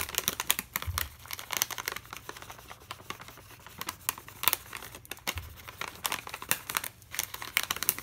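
A full plastic foil bag of Navratan mixture snack, held in one hand, is scratched and tapped with a metal pen tip. Bright, crinkly scratching runs throughout, broken by many quick, sharp taps that die away almost instantly.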